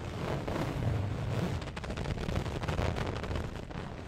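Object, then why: Fabric throw pillow. An orange printed fabric throw pillow is scratched and rubbed with long nails close to the microphone. The result is a dense, steady rustling scratch with a heavy low rumble and brief brighter scraping strokes, holding at an even level throughout.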